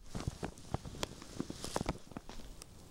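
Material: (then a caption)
Knit fabric. Long painted nails scratch and rub across a red knitted Christmas sweater with a snowman pattern, spread flat. The result is a quiet run of soft, scratchy rubs with muffled low thuds, and brief brighter scratches cutting through now and then.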